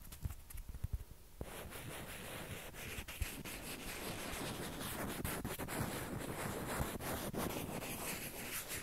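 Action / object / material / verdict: scrape / plastic ping pong ball / plastic / none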